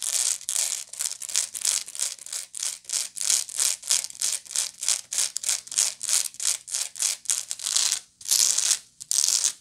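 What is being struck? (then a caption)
Woven straw bag. Long nails scratch the woven side of a medium, hollow woven straw bag held up close, making quick, bright, dry scratching strokes. The strokes come in a fast, uneven run with short gaps between them, and a couple of longer pauses near the end.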